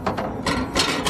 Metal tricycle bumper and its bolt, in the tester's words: Ang lakas ng kalansing, sabi ko, problem solved. Andito, nag-loose yung tornilyo niya.